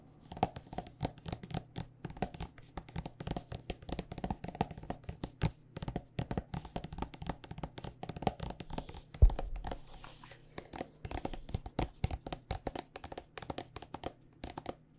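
A hand-sized, hollow, partly full Andalou body butter tube of white soft plastic with a red cap is tapped and scratched with long dark-painted nails. Rapid, dense, dull clicky taps with soft scratching run throughout, sitting over a steady low hum. One louder thump lands just past the middle.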